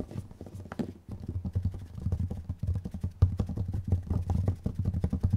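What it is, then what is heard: Plastic jar lids tapped. Long nails tap fast on the plastic lids of two identical small, round, clear plastic dome containers with strawberry labels and red contents, held one in each hand. The taps come in a rapid, uneven patter of short, dry, hollow knocks with a deep, low body and no ringing after each hit.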